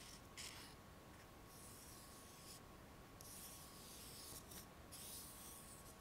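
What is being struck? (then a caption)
Aluminum ruler scraped with fingernails. Long painted nails rub and scratch along the surface of a long, flat, solid aluminum ruler about 20–30 cm long with a printed scale, held in both hands. It makes a quiet, steady scratchy rasp with repeated bright, hissy swells as the nails sweep along the metal, over a faint steady tone.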